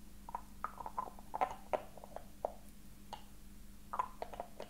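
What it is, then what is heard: Ornate metal box. A small silver-coloured metal box with raised floral filigree, hollow with its contents not visible, is held at the edge and tapped and scratched with fingertips and short nails. Quick, light taps give short, dry clicks with a faint mid-pitched ring that dies almost at once, over a quiet, steady low hum. Brief scratchy strokes sit between the taps.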